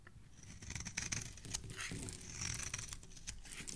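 A hand-held solid red bar soap has its corner repeatedly scraped and shaved by a metal blade edge, piling pink flakes below. The audio is a quiet, continuous run of dry, bright scratching strokes over a low rustle, with short crisp scrapes following one another throughout.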